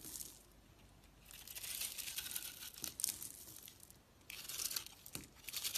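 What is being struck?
Soap bar scraped with a blade.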